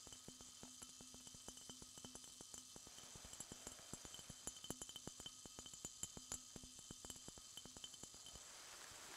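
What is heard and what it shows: A small, clear glass Coca-Cola bottle with a red label, hollow and apparently empty, is held in both hands and tapped rapidly with fingertips and nails. The taps make a dense run of short, bright, glassy clinks that die away almost at once, with a faint low tone under them. A steady high hiss runs underneath throughout.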